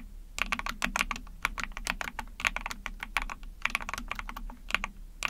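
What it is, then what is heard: Plastic mechanical keyboard. Long painted nails and fingertips rapidly type on a small, backlit 44-key Epomaker TH40 mechanical keyboard with an ABS plastic case, PC plate and pink and white keycaps. The result is a steady stream of quick, bright, clacky keystrokes centred near 2.4 kHz, each dying away almost instantly over a faint low hum.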